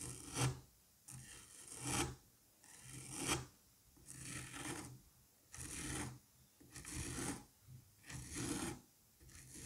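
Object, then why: Kinetic sand mound. A gloved hand holds a solid dome of green kinetic sand while a curette scrapes and rasps across its surface. Repeated gritty strokes come roughly every second, each a bright, hissing rasp with a low rumbling body, separated by short quiet gaps.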